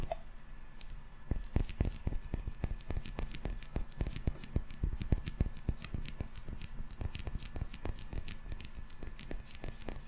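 A small glass candle jar, filled solid with yellow wax and topped with a metal screw lid, is held close and rapidly tapped and scratched on its glass body with fingertips and nails. The result is a quick, irregular stream of short, dull, bass-heavy taps that die away almost instantly, mixed with soft scratchy friction over a faint steady hum.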